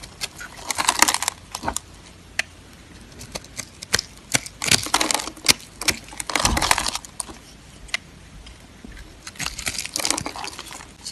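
A small metal blade scrapes and cuts cubes off a solid, hand-held yellow bar of dry soap with a pre-scored grid surface, and crumbly soap pieces fall away. Dry, bright crunching and crackling bursts come in waves, with short sharp clicks between them and quiet gaps in between.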